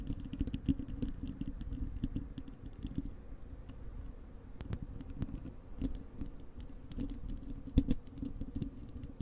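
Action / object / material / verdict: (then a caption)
scrape / wire-mesh metal microphone grille scratched with long nails / metal mesh / none. Long acrylic nails of both hands scratch across the bare, hollow wire-mesh metal grille of a large desktop microphone. The result is a dense, continuous patter of scratchy ticks and rustles over a boomy low rumble with a tone near 270 Hz, punctuated by sharp, bright clicks that die away almost instantly.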